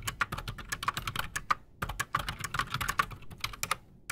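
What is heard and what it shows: Both hands type fast with their fingertips on a full-size black Redragon Shrapnel K589 mechanical keyboard, fitted with Razer PBT plastic keycaps and Outemu Silent Sky silent switches, that sits solidly on a desk. A rapid stream of short, dry, muted clacks with a mid-pitched tick around 1.2 kHz and soft low thumps pauses briefly near the middle before resuming.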